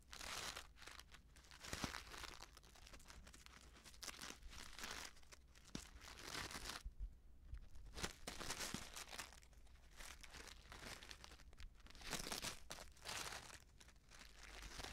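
Fingers crinkle, bend and shake a small, filled Betty Bossi Fladli instant soup packet made of plastic foil. Dense, bright crackling and rustling comes in uneven bursts over a steady low hum, with the foil's crunches swelling and easing for the full fifteen seconds.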